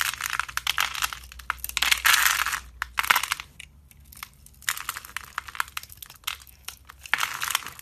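A red-handled knife carves pre-scored grid cubes off the surface of a hand-sized, solid white-cream bar of soap held in the hand. Dense, bright crunching and crumbling scrapes come in bursts, with brief quiet gaps between cuts. The sound has little low end.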